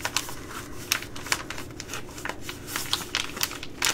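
A Ready Rice plastic laminate pouch is tapped with long nails and squeezed, giving a steady dry crinkling broken by sharp, bright clicks and crackles. The sound is thin and high, with little low end, and each tap dies away almost at once.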